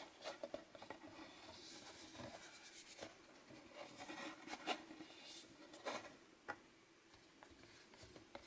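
A small cardboard Fitbit Blaze box is turned in the hands while fingertips rub and scratch its printed surfaces and edges. The result is a quiet, dry, papery rubbing with bright scratchy texture, broken by a few sharper taps and scrapes.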